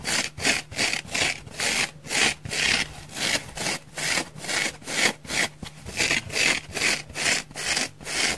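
A thick, palm-sized, dry orange porous foam sponge is scratched quickly with long nails across its face and curved side. About eleven bright, airy rasping strokes sound in a steady back-and-forth rhythm, each fading quickly with no ring.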